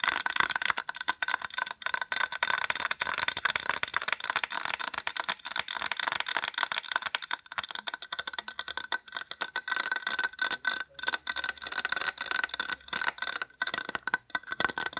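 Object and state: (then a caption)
Small plastic case. Long acrylic nails rapidly tap and scratch along the edge of a small, white, hollow plastic case. The result is a dense, continuous stream of sharp, bright clicks and scrapes with almost no low end. A faint hollow tone sits around 1.5 kHz, and each tap dies away almost instantly.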